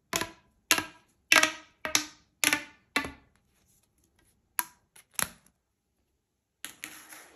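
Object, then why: Corrugated plastic pop tube. A hollow blue corrugated plastic pop tube toy is stretched to full length by hand so its segments pop, then bent into a ring. Six sharp, bright pops come at a steady pace, followed by a pause and a few more scattered pops, each decaying quickly. The last pops trail into a softer, rustling crackle.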